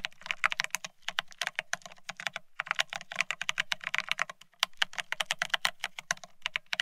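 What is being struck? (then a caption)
Plastic split ergonomic keyboard. Fingertips of both hands type fast on a full-size beige split ergonomic keyboard with plastic keycaps. The result is a rapid stream of short, bright plastic clicks and clacks, broken by a few brief pauses, with a faint low undertone beneath the keystrokes.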